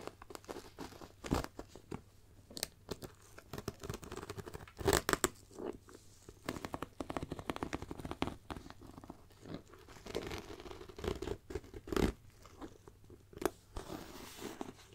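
Long black nails scratch the textured, pebbled surface of a black faux leather backpack beside the zipper, over a hollow front. Dry, crunchy scratches and light taps come in dense bursts with a few sharper, louder strokes, each dying away almost instantly.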